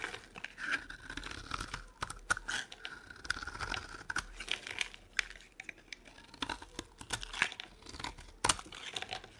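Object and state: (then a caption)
Dry soap bar being carved. A metal blade scrapes and carves a dry, solid oval soap bar with yellow and green stripes, held in the palm, into cubes and shavings. A steady run of crisp, crinkly scraping and short dry crunches fills the clip, bright and thin with little low end. A sharp, louder snap stands out near the end.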